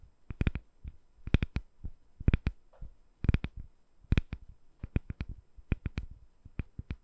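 A translucent, palm-sized solid glycerin soap bar with colorful soap balls set inside is held in one hand over the microphone and tapped with long dark-painted nails. Quick, uneven bursts of taps give dull, low thuds with crisp, bright clicking edges that stop dead with no ring, against a quiet background.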